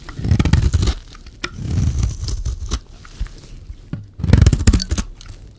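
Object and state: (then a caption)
Dry bar soap scraped with a blade. A solid, dry yellow bar of soap held in the hand is scraped and shaved with a metal utility-knife blade. The result is dull, crunchy, tearing scrapes in three main bursts with sharp little clicks in between.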